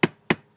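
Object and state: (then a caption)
Laptop casing tapped. A MacBook laptop casing is tapped three times, standing in for tapping a hard, thickly crusted loaf of bread. Each tap is a short, sharp knock with a low-mid body and a brief bright edge that dies away almost at once.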